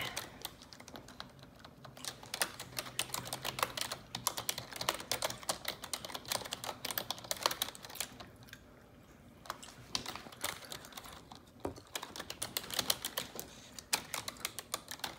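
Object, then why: Plastic computer keyboard keys. Long neon-yellow nails type rapidly on the keycaps of a black plastic computer keyboard. The result is a dense, bright stream of sharp, short clicks and taps with a brief lull around the nine-second mark before the fast typing resumes.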